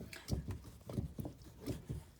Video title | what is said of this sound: Making Butter with Mrs. Kay | it's not liquid anymore it's very very hard to churn right now